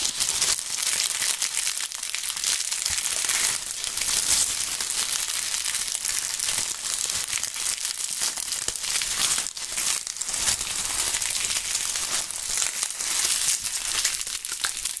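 Dry, brittle brown autumn leaves are held in both gloved hands, crushed and rubbed together with the fingertips. A steady, bright crunching and crinkling runs throughout, with dense crackles and almost no low end.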